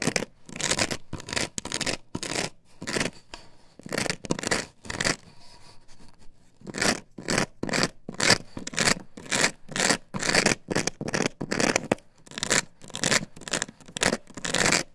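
Long fingernails scrape quickly back and forth across the cutouts of an upright plastic stencil template glued to a wooden board. The result is a rapid, irregular series of dry, bright, raspy scratches with a brief softer lull in the middle before the fast strokes resume.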